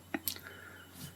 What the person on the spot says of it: that's the sound of success the hollow sound of risen bread